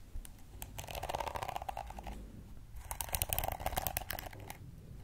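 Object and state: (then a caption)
Plastic detangling hairbrush. Long red acrylic nails scratch and tap across the many flexible plastic bristles of a hand-sized pink plastic detangling brush with a hollow-backed body, held in one hand. Dense, crackly bursts of bright clicking and scratching come in two main runs, with short dry taps in between and a soft low rumble underneath.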